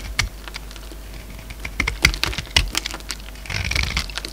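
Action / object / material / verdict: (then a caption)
scrape / solid bar of soap cut with a blade / soap / none. A utility-knife blade shaves along the face of a solid green bar of soap held in the palm, in repeated scraping cuts as chips fall away. Each cut makes a short, crisp, bright click or scratch that dies away almost at once, and a longer rasping scrape comes near the end. A steady low hum sits underneath.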